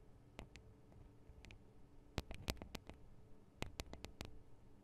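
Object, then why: Small metal and plastic microphone capsule housings. Long acrylic nails tap on the small hollow metal and plastic microphone capsules of a Tascam DR-40 recorder and on their guards. Sharp, dry clicks arrive in irregular clusters over a low, quiet hum, each one bright and dying away almost instantly, with a few louder taps standing out.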